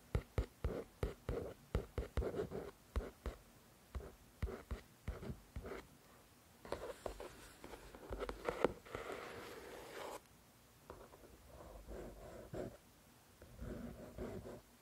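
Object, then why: Paperback book, paper cover. Long nails scratch the front cover of a solid paper paperback copy of "The Shack" in about twenty short, dry strokes, each with a soft low thud. They then drag in a longer, continuous papery scrape before moving to the back cover of the same book for quieter, rasping scratches.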